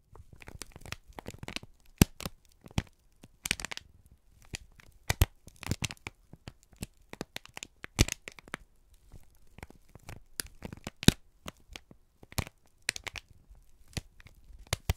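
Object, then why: Thin kraft paper strip. A single flat strip of thin brown kraft paper, held in both hands in front of the microphones, is crinkled and squeezed with the fingertips and thumbs. Dense, dry crackling and crinkling comes in irregular bursts, with sharp, bright snaps standing out over a soft, low rustle. Each crackle cuts off almost instantly, with quiet gaps between clusters.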